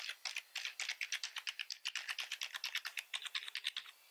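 Fingertips of both hands type steadily on a full-size black plastic membrane keyboard with red accent keys, with the mouse sitting idle beside it. About thirty quick, dry, bright key clicks and taps come in a rapid, even rhythm. Each dies almost instantly, centered high around 3.5 kHz with no low end.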